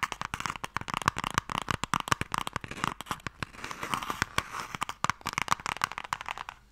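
Fingernails tap and scratch quickly on a closed, hollow wooden Mikado box held in both hands. Rapid, dry clicks with almost no ring and a hollow midrange tone around 1.1 kHz, broken by a softer scratching stretch around the middle, with bright crinkly texture on top.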